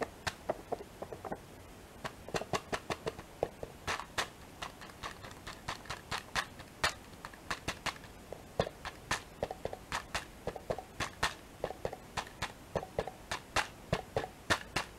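Fingertips and nails tap the printed foil lid of a small, full, sealed plastic yogurt pack (Teddies crispy) held up in the hand. It produces a steady run of about sixty short, crisp taps, each with a brief hollow, mid-pitched ring and a bright edge that dies away almost at once.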